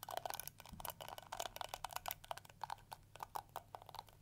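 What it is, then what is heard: Plastic detangling brush. Long nails scratch and strum the plastic teeth of a round pink and yellow plastic detangling brush with a hollow shell. About twenty quick, dry clicks and scratchy plucks with a mid-pitched tick around 700 Hz and bright crackle, each dying away almost instantly.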